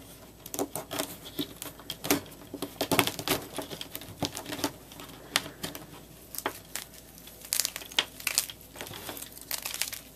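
A palm-sized solid white block of gym chalk (magnesium carbonate) with a colored top is broken into chunks and crushed and crumbled between bare fingers with painted nails over a white surface. The crushing gives dense, dry crackling and crunching with many sharp, bright snaps that die away at once, coming in bursts separated by quieter stretches.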